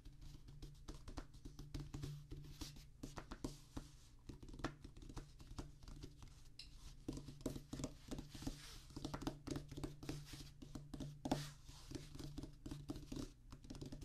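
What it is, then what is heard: Rubber drum practice pad. Fingertips of both hands tap and drum lightly on a flat oval drum practice pad about 30 cm wide, with a black rubber playing surface mounted on a solid, light wooden base. A steady stream of soft, dull, rapid taps and patters sits over a low, constant hum, each tap dying away almost at once.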